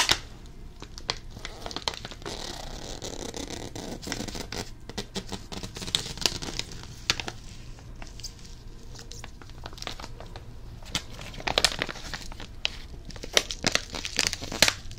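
A small, flat plastic foil popping candy packet with a spiky shape is crinkled with the fingertips close to the ear. A steady, bright crackling rustle runs throughout, dotted with sharp little snaps and ticks that stop almost at once, growing busier and louder toward the end.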